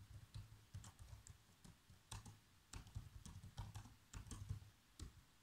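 Bare fingertips with short nails tap continuously on the keys of a black plastic laptop keyboard. The result is a quiet, irregular stream of soft, dull key thuds with faint bright clicks. Each tap dies away almost instantly.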